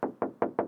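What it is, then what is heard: Aluminum car body panel. Four knuckle knocks on an aluminum exterior body panel of a 2022 BMW iX xDrive 40, contrasting with a nearby plastic-sounding panel. Each knock is a short, dull, mid-pitched tap around 470 Hz that decays within a fraction of a second, with almost no low or high end.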